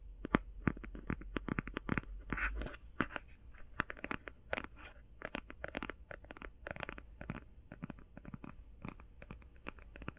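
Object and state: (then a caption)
Cardboard eyeshadow palette. Fingernails tap quickly on the cover of a closed, hand-sized cardboard eyeshadow palette and scratch across it. The result is a rapid run of short, dry clicks with a soft low thump, and a brief scratchy rasp partway through.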